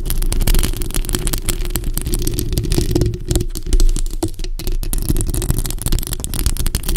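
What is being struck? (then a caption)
Metal mesh microphone grille. Both hands scratch the hollow metal mesh grille of a bare black microphone with long acrylic nails. The result is a dense, continuous rasping scrape with a heavy low rumble and a steady low hum underneath, and faint bright scratchy edges on top. The level stays fairly even for the whole clip.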